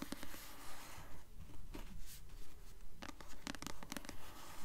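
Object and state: Paperback book cover scratched with nails.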